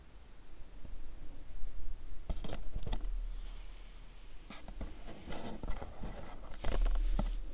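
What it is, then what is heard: Cardboard gift box. A pink, cube-shaped printed cardboard candle box is held and tapped with fingertips and nails. The taps are soft, dry and quick, with brief bright clicks and scratchy scrapes over a low, quiet rumble. They come in loose clusters, with a louder burst of tapping near the end.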